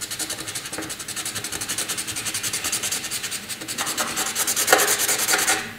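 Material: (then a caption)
Paper. A graphite pencil scratches over a flat sheet of white drawing paper in heavy, dense shading strokes. A fast, steady run of bright, dry rasping strokes with almost no low end grows a little louder and harsher toward the end before fading out.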